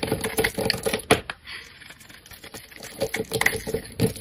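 A hand-sized, solid rectangular pink bar of soap, held in fingers with painted nails, has its top edge scraped and carved with a metal utility-knife blade, and chips fall off. The sound is a series of crisp, dry scratching clicks with a faint tone around 430 Hz and a bright edge. A sharp cut near the start gives way to a softer, quieter stretch of light scraping, then firmer strokes return toward the end.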